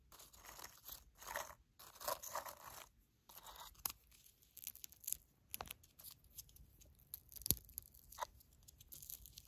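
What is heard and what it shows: Long black nails poke into, grab and crunch popped popcorn in a clear plastic tub full of it. Bursts of dry, bright crackling and rustling come with sharp little clicks and crunches, separated by brief quiet gaps. The sound is close and fairly soft.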